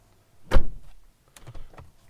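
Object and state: Solid-sounding truck door.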